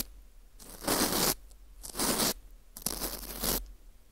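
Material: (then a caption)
Dried wheat gluten. A gloved hand holds a porous dried wheat gluten ring (fu) while a teal plastic scraper scrapes inside its hole. Three bursts of crunchy, crumbling scraping are heard, each a broad, bright rasp lasting about half a second to under a second, with quiet pauses between.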